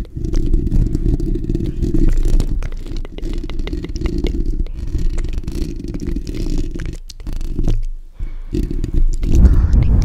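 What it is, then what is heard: Metal mesh microphone grille being scratched. Fingertips and nails of both hands scratch and rub the bare steel wire-mesh grille of a black desktop condenser microphone's hollow dome. This produces a dense, boomy, rumbling scrape concentrated in the low end, with faint bright ticks over it. Brief quiet gaps fall near the seventh and eighth seconds before the rubbing grows louder again at the end.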